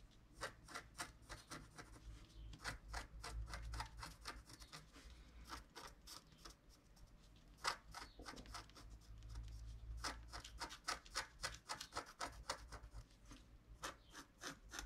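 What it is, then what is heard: Scratch-art card being scratched. A wooden stylus scratches the coating in the lower left area of a flat scratch-art card made of wax-coated paper. It makes quick, irregular, bright scratchy strokes that stop dead, with a steady low hum underneath.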